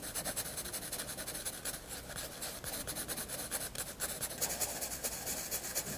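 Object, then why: Pencil graphite on a paper sketchbook page. A pencil held low on the shaft makes long rubbing shading strokes across a white paper sketchbook page. The result is a steady, bright, papery scratching that swells and eases with each stroke and carries little low end.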